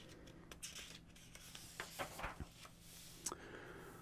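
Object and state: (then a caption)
Paper atlas pages. Fingertips rub the thin printed paper pages of a large old hardcover atlas lying open on a table, full of maps and photos, then turn one flexible page over so the spread changes. Soft, dry rubbing and papery rustles are broken by a few brief, crisp crackles as the page lifts. A faint, steady low hum sits underneath.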